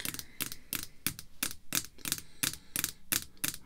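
Red artificial nail tips tap on a small, solid, clear acrylic screw-down card holder containing a Post Cereal card, resting on black cloth. A steady run of quick, bright, clicky taps follows, each dying away almost at once, with a little low thump beneath the sharp high crack.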